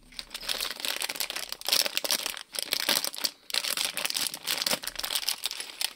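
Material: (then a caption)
Plastic film. A small printed plastic-film Lego polybag with bricks inside is held in both hands while fingers squeeze and crinkle the film and shift the bricks around. The result is a dense, bright, continuous crinkling with rapid crackles and faint clicks of the bricks, pausing briefly twice before starting up again.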